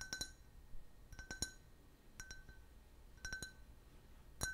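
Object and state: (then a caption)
Can-shaped glass, empty. A clear, hollow, empty glass shaped like a soda can, about 12 cm tall with a printed logo, is held in the hand and tapped with fingernails and fingertips. Short, bright glassy clinks come in quick clusters of two or three, each with a thin ringing tone that fades almost at once against a quiet background.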